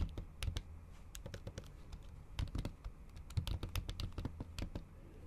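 Long acrylic nails tap the keys of a MacBook keyboard covered with a thin pink plastic/silicone cover while typing. The result is a quick, irregular run of soft, muffled key taps, dull and low-heavy, with short bright clicks from the nails and a faint steady background hum between strokes.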